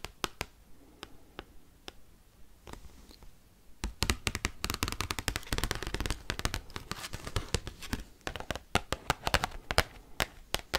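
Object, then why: Large thin cardstock card tapped with metal paperclips. Metal paperclips worn on the fingertips tap and scratch a giant, large, thin, glossy cardstock Pokemon trading card. Sharp, sparse clicks in the first few seconds give way to a dense, fast flurry of crisp taps and rough scratches that continues to the end.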